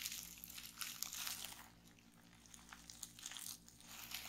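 Fingertips with long painted nails press and pop the air bubbles in a folded sheet of clear plastic bubble wrap lying on a wooden table. Quiet, bright crinkling runs throughout, broken by sharp, short pops and clicks, and it briefly softens midway before picking up again.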